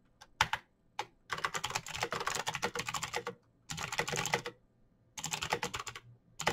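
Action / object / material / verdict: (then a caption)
tap / plastic mechanical keyboard / plastic / none. Both hands type fast with their fingertips on a backlit plastic Razer BlackWidow mechanical keyboard with clicky green switches, pressing the keycaps as it sits on a desk. A few isolated taps open the clip, followed by three dense bursts of rapid typing separated by brief pauses. Each keystroke is a sharp, bright click that dies away almost instantly, with little low end.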